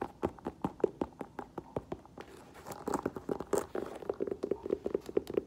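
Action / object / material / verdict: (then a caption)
tap / leather ankle boot with rubber sole / leather, rubber / none. An olive green leather ankle boot with a thick black rubber sole, held sideways, is tapped with nails and fingertips on its hollow upper and sole. A rapid series of light, short, dry taps with a muted hollow tone stays steady throughout, and the tapping gets denser in the second half.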